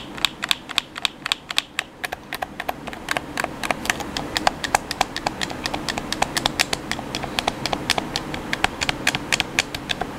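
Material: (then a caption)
Plastic. A black hollow plastic gamepad is held in both hands while fingertips repeatedly tap and press its face buttons and thumbsticks. The result is a fast, uneven stream of dozens of sharp, dry, bright plastic clicks with no ring, over a faint steady background hiss.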